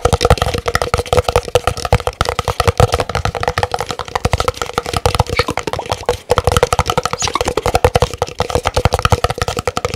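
An empty, large white printed paper cup is tapped rapidly on its side with fingernails. The fast tapping makes a dense stream of short, dry, hollow clicks with a steady resonant tone near 500 Hz and some low thump. Each tap dies away almost instantly, with a brief pause near the six-second mark.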